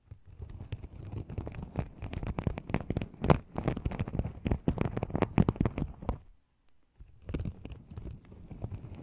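Fingertips pinch and flip the sequins at the rim of a small, empty, open sequin-covered fabric pouch. The result is a dense run of soft, crackly clicks and rustles, mostly low and muffled. It pauses briefly just past six seconds, then resumes more quietly.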